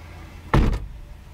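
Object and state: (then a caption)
Solid car door, not tinny. The steel front door of a 2023 Hyundai Elantra SEL Convenience is slammed shut, producing a deep, low thud with a short decay and almost no high-frequency rattle. It sounds solid rather than tinny, suggesting a thicker door with more mass that should help block road noise.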